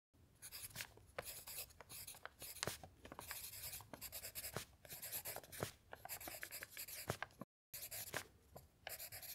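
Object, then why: Pen nib on a thin paper sheet. A pen scratches across a thin lined paper sheet lying flat on a table, writing in quick, bright, scratchy strokes with short sharp accents, while the other hand rests still on an open dictionary. The writing runs steadily, with a brief silent gap near the end before it resumes.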